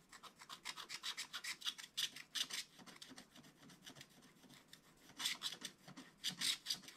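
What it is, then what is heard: Scratch-art coated paper page. A wooden stylus scratches the tree area of a black-coated scratch-art book page with rapid back-and-forth strokes. The result is a dense run of short, bright, raspy scratches with almost no low end. It is louder at the start and near the end, with softer strokes in the middle.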